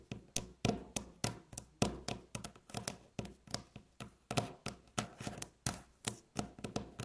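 Long nail tips tap quickly on a flat, solid, light beige wooden tabletop, producing a steady run of about 26 dry, knock-like taps. Each tap is short and dies away almost at once.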